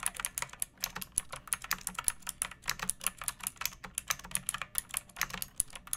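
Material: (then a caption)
Plastic. A pink plastic mechanical keyboard with round backlit keycaps and a hollow body, resting on a wooden surface, is typed on steadily with long painted nails and fingertips. About 36 quick keystrokes are heard as bright, clicky plastic clacks with sharp high-pitched ticks, each dying away almost instantly. A faint low hum sits underneath.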